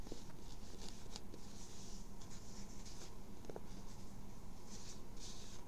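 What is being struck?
Cotton twill baseball cap.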